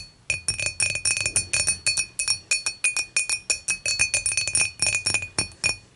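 Long matte fingernails on both hands tap quickly and unevenly on the top of an empty, clear, dimpled glass beer mug lying on its side. Each tap is a bright, short glassy clink with a ringing tone around 2.5 kHz that dies away almost at once, followed by faint rattles.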